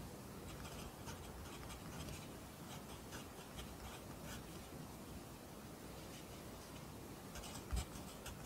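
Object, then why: Graphite pencil on lined paper notebook. A pencil writes Korean handwriting on an open lined paper notebook, the graphite scratching steadily against the paper in quiet, continuous strokes with faint bright edges over a low background hum. A brief louder tap stands out near the end.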